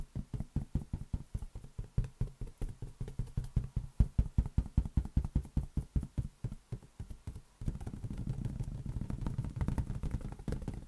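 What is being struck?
Inflated latex balloon.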